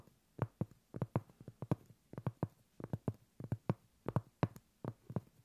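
A flat, solid round cork coaster is held upright while long pointed acrylic nails of both hands tap and scratch its face. About 21 short, dull, low thuds come in an uneven rhythm, each dying away almost at once, with faint scratchy texture between them.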